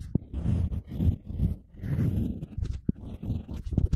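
A stylus carves lettering into a flat, solid square slab of unfired light-blue ceramic clay resting on a board, while fingertips hold the slab in place. The result is a continuous low, dull scraping and scratching with a few sharp clicks scattered through it.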